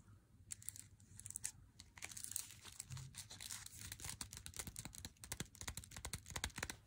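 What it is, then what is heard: Paper-wrapped chocolate bar. Long fingernails and fingertips tap and scratch the front and back of an unopened, full Lindt Swiss Classic 100g dark chocolate bar, flat and solid in its glossy paper wrapper. The result is a quick, dense run of crisp, bright, papery clicks and crinkly scratches, each dying away almost at once over a soft low rumble.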